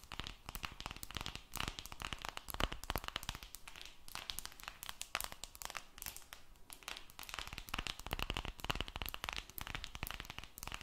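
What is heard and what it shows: Long red nails rapidly tap and scratch the silver aluminum back of a smartphone held close to the mic. The result is a quiet, dense stream of crisp clicks and raspy scrapes, bright and crinkly, with short bursts that die away almost instantly.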